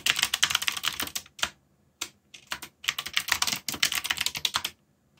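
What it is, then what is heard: Plastic mechanical keyboard being typed on. Fingertips type rapidly on the plastic keycaps of a backlit mechanical keyboard, producing a dense run of bright, sharp clicks in uneven bursts. The bursts are separated by short pauses, and each clack dies away almost instantly.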